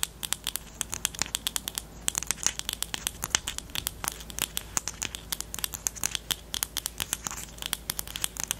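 Long nails tap and scratch the plastic barrel of a pastel pink highlighter pen with a black cap. The result is a rapid, steady stream of sharp, dry clicks that stop almost instantly, bright and crisp with very little low end, over a faint scratchy rustle.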